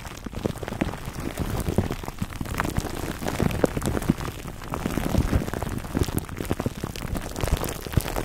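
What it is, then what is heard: Plastic-wrapped foam microphone cover. Fingertips of both hands scratch and squeeze clear cling film wrapped around a black foam microphone windscreen. The result is a dense, continuous crackle of tiny crinkles, heavy in the low end and dull rather than bright. It sounds like rain on a surface, with slight swells in loudness throughout.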